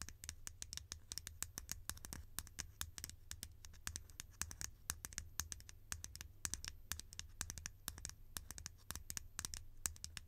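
A green, conical, hollow plastic lid held in the hand is tapped and scratched with long painted nails. Rapid, dry, high clicks and scratches fall in quick succession, each dying away almost instantly, over a steady low hum.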